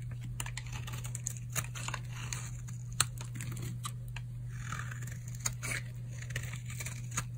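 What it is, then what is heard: Dry bar soap being scraped. A solid purple oval bar of dry soap, held in the palm, is scraped with a utility knife blade. The result is a steady run of short, crisp, crunchy scraping clicks as shavings come off, with a low steady hum underneath.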